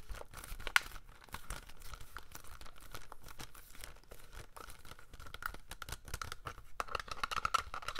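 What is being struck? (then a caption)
Plastic DVD case. The front of a hollow plastic double-feature Jeepers Creepers DVD case is tapped and scratched with fingernails. A quiet, steady stream of quick dry ticks and scraping crinkles runs throughout, with faint low thuds and a faint tonal band around 1.4 kHz. A few sharper clicks stand out near the start and toward the end.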